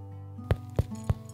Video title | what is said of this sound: 千层烧饼 Thousand Layer Flatbread | Now you know how crispy the crust is